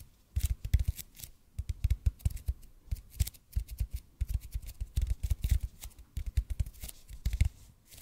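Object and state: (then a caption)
EPP foam roller. Fingertips and nails rapidly tap and scratch a large, hollow, red-and-white EPP bead foam roller held in front of the mic. Quick bursts of deep, dull thumps mix with short, bright clicks and scratchy rustles. Each hit dies away almost at once with no ring.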